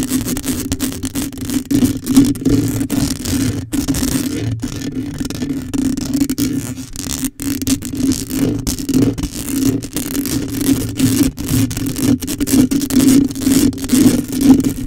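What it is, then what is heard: Metal mesh microphone grille being scratched. Long pink nails scratch the sides and top of a hollow black metal mesh microphone head with no cover. The result is a dense, irregular run of close scraping and rustling strokes, about two per second, with a steady tone near 260 Hz and a faint bright hiss. It holds at a fairly even level with brief dips between strokes.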